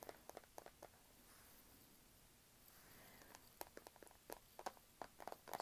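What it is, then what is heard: Plastic-backed e-reader. Long nails tap on the matte black plastic back and edges of a small, thin, solid Kindle e-reader held flat. They make sharp, bright clicks. A brief burst of taps is followed by a quiet stretch of soft hiss, then quicker, denser tapping to the end.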